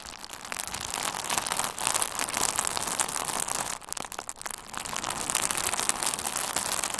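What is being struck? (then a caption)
Plastic bubble wrap. A hand-sized bundle of pink-red plastic bubble wrap with hollow air-filled bubbles is held in both hands and squeezed with the fingertips. It makes dense, bright crinkling with scattered sharp pops. A brief quieter dip comes near the four-second mark before the steady crackle resumes.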